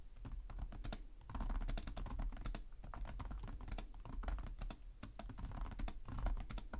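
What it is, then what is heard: Plastic laptop keyboard. Both hands type rapidly with their fingertips on the plastic chiclet keys of a black laptop with a hollow chassis. The result is a steady, dense clatter of sharp, bright clicks over a low, hollow thud that continues for about seven seconds.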